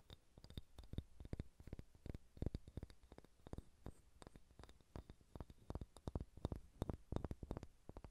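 A large, solid, unfinished wooden sphere held in both hands is tapped and scratched with long red-painted nails. It makes a quiet, rapid run of soft, low, woody knocks that die away almost at once, with faint bright scratching ticks between them. The taps keep a loose, uneven rhythm throughout.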